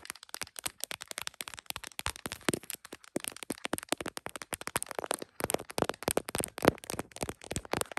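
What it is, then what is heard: Smartphone in plastic case, nail tapping. Long acrylic nails rapidly tap and scratch the back of an iPhone in a smiley-print plastic case and its camera bump, while the small, hollow phone sits on a tripod clamp, recording, reflected in a heart mirror. The phone's own mic picks up a dense stream of sharp, dry clicks and brief scratchy ticks with bright edges and almost no ring.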